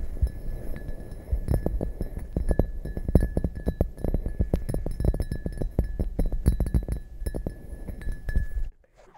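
Long dark nails tap the bottom and sides of an upside-down, hollow, empty red glazed ceramic mug in quick irregular flurries. Each tap is a short, dull, low thump with almost no ring, over a faint steady background hum. The tapping stops abruptly just before the end.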